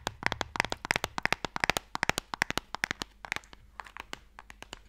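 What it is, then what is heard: Wooden Mikado box, tapped. Fingertips and nails tap a small, closed, pale wooden Mikado box, a hollow box that holds sticks, held upright in one hand. About 35 crisp, dry clicks come in quick, uneven bursts, each with a bright, woody knock that dies away instantly. The taps grow softer toward the end, over a faint low hum.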